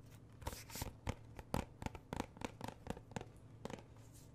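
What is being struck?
Thin plastic game case.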